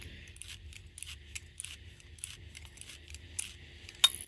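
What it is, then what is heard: Loosely packed wool felt. An extra-fine felting needle is poked repeatedly into loosely packed wool felt that is not yet firmly packed, giving a soft, crispy sound. Quiet, dry, high-pitched scratchy clicks come in a rapid irregular series, with a sharper click near the end.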